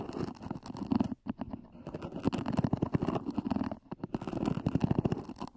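Long nails scratch rapidly across the lid of a small, black, zippered EVA hard-shell earphone case near its edges, the hollow case adding a dull, low resonance. The dense, raspy strokes run steadily with two brief pauses, swelling and fading in loudness throughout.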